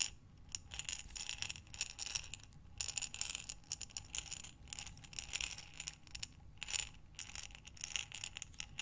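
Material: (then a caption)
Glass. A glass mason jar with a metal lid, filled with small buttons, is rotated and tipped by hands with long nails. The buttons rattle and clatter inside in repeated bright, crisp bursts of quick clicking with short pauses between them. Each burst fades quickly, leaving only a faint low rumble.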